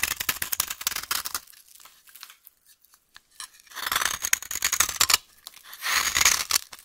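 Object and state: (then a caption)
Dry bar of soap being scraped and cut. A solid, dry, yellow vintage soap bar held in the hand is scraped and cut continuously with a utility knife blade. The result is bursts of bright, crisp scratching and crumbling with a brief quieter pause in the middle. A faint low hum runs under the loud passages.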